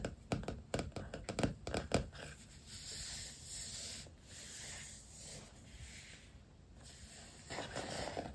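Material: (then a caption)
Vinyl. Fingertips and nails tap about ten times on a black softcover notebook covered in vinyl stickers, lying flat, with sharp, close taps over the first two seconds. Softer, continuous scratching and tracing across the sticker-covered cover follow for the rest of the clip.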